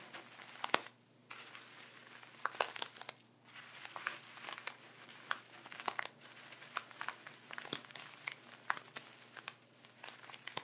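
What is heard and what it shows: Fingertips and nails press, rub and scratch a layer of sea salt through a clear plastic ziploc bag lying flat. The result is a steady stream of bright, gritty crinkling and scratching, dotted with sharp crackly clicks. Two brief near-silent pauses break it up, around one second and just after three seconds.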